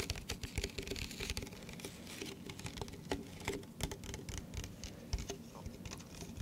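An empty, hollow, hand-sized clear plastic cup is held up close and tapped with fingertips and nails around its sides and base. The result is a quick, uneven patter of light clicks and scratchy taps. Each tap carries a short, hollow ring near 280 Hz and bright, crisp edges.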